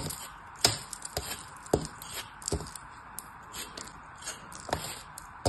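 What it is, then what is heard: Kinetic sand block being cut. A fist-sized, solid molded block of beige kinetic sand in a turtle shape is held in the hand while a small blade slices and scrapes off pieces. Soft, gritty scraping runs throughout, broken by several sharp, bright crunchy cuts.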